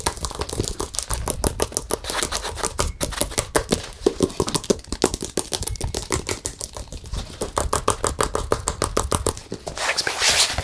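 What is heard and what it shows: Fingertips tap rapidly on the back and edges of a hollow-backed, acrylic-painted stretched canvas with a colorful pop-art face, held and tilted. The result is a fast, steady stream of short, dry, hollow taps with no ring. Near the end, the taps give way to a brief bright, rustling brush.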